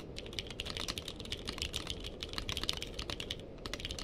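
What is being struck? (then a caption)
Mechanical keyboard with plastic keycaps. Fingertips of both hands type rapidly on a purple-cased mechanical keyboard with plastic keycaps. Each key press gives a short, sharp, bright clack centered around 3.6 kHz that dies away almost instantly. The clacks run in a dense, uneven stream over a steady low rumble.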